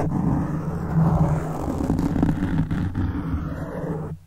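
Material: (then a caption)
Foam. Fingertips of one hand scratch a black foam windscreen on a silver microphone, producing a close, continuous low rumbling scrape that sounds almost like a growl. The sound stays dense and bass-heavy with little high content, swelling slightly in places before fading out at the end.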